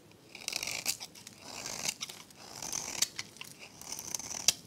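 A metal blade scrapes thin, crunchy shavings from the face of a dry, solid, rectangular pink soap bar held in the hand. Bright, dry rasping strokes come in repeated waves, with short sharp crackles and clicks between them. There is almost no low end and no ring.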